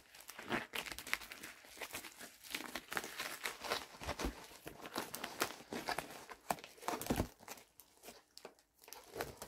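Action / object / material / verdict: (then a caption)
scrape / plastic poly bubble mailer / plastic / none. A medium-size pink poly bubble mailer envelope with a shipping label has its flap pulled and is crinkled with fingertips. Dense, bright crinkling and crackling rustles come in rapid irregular bursts, with some sharper tearing-like rips, over about ten seconds.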